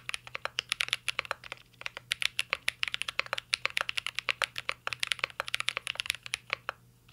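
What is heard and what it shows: Fingertips type continuously on a full-size mint-green Cyberboard R3 mechanical keyboard with a hollow metal case, plastic keycaps and Holy Panda switches. Dozens of short, bright, clacky key taps follow in a steady run, each dying away almost instantly, with a pitch centred around 2.6 kHz and no low thump.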